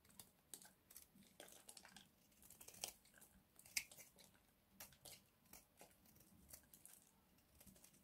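A hand-sized, pale blue-white bar of dry soap is held in one hand and scraped along one edge with a small box-cutter blade, curling off crunchy shavings. Quiet, dry, bright scraping crunches come in irregular short bursts with almost no low end, and each one dies away at once.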